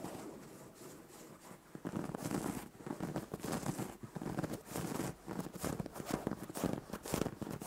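Fingers with long nails scratch and rub the surface of a soft white fabric duvet on a bed. A faint, steady rustle gives way after about two seconds to louder, repeated bursts of brushy scratching with bright, airy texture. Each stroke stops short with no ring.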